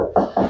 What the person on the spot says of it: And everything's nice and absolutely solid. No hollow spots on my tiling.